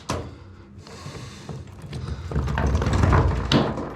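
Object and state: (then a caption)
Hollow false wall with a cavity behind. Rubble dislodged from a stone-and-rubble cave house wall falls through an opening into a hollow cavity behind it, giving a sharp thud followed by a rising, rumbling clatter of tumbling debris with low, hollow thumps. The sound confirms it is a false wall with a dark, damp hole behind it.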